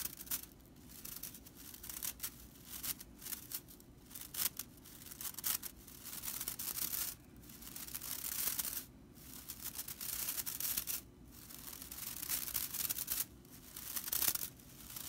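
Long nails scratch downward along the dry straw bristles of a whisk broom, producing bright, crackly scraping and rattling in a quick run of strokes. The scratching comes in bursts separated by brief pauses, and each stroke dies away almost at once with little low end.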